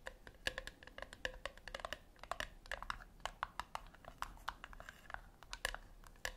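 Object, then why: Small round metal tin. Long acrylic nails tap and scratch the lid and sides of a small round silver metal tin, likely hollow, resting on a white cloth on a wooden table. Dozens of quick, sharp clicks with a brief metallic ring follow one another in an irregular rhythm. Soft scratchy rustles fill the gaps between them.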